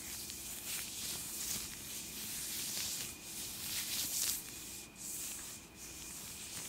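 Thin purple latex (possibly nitrile) gloves on both hands are rubbed and wrung together, palms and fingers, close to the microphone. A continuous, bright, hissy rubbing with squeaks swells and dips in loudness without pause, and almost all of the sound sits in the high range.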